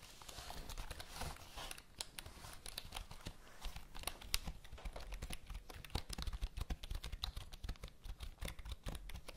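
Long acrylic nails tap, click and scratch across the keys of a full-size black plastic HP computer keyboard held upright near the mic. A rapid, dense stream of short, dry plastic clicks rises over a low, steady rumble, with bright scratchy rasps between the taps and brief bursts of louder clatter throughout.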